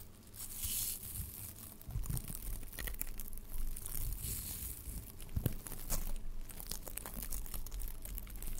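Blue glittery tinsel garland strands of metallic plastic are stretched between the hands and rubbed and crinkled with the fingertips close to a microphone, possibly brushing its grille. A continuous, dense crinkling and crackling carries a strong low, muffled rumble, with bursts of brighter, sharper crackles throughout.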